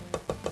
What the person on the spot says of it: the walnut that has that crisp, alive tone, but is also still warm compared to